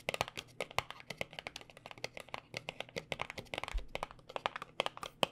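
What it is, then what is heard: Cardboard cosmetic box. A small white paperboard cosmetic box is held between both hands and tapped quickly with fingertips and nails. It gives a rapid, irregular run of about 33 short, dry, papery taps with a hollow mid-range body and bright clicky tops. Each tap dies away almost instantly at a quiet level.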